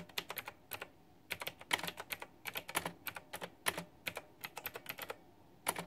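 Fast typing with fingertips and long nails on a white, backlit, pink-flower-themed retro plastic mechanical keyboard with round, typewriter-style plastic keycaps. Quick bursts of sharp, bright clicks and clacks come with brief pauses between them. Each keystroke is crisp, with very little low end, and dies away almost instantly.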